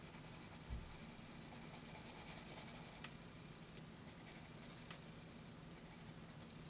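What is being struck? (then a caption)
Graphite pencil on a paper sheet. A wooden graphite pencil held in the fingers rubs and hatches across a flat sheet of graph paper in short strokes. It makes a soft, dry, bright scratching that grows into a quick rhythmic burst of strokes before settling into lighter, sparser scratches. A faint low hum sits steadily underneath.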